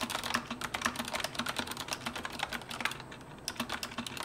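Both hands type with their fingertips on a retro mechanical keyboard with round, orange-backlit plastic keycaps. The result is a fast, steady run of bright, crisp clacks with a faint hollow low tone under them, and each stroke dies away almost at once. The typing eases into a brief quieter lull just after the three-second mark, then picks back up.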